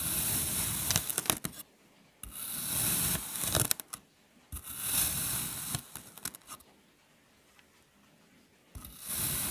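A metal knife blade cuts and presses in parallel slices through a flat, solid, hand-sized mango-shaped mold of green kinetic sand resting on a white surface. Each slice makes a crunchy, gritty hiss that is bright and high, with little low end, and quiet pauses fall between the strokes.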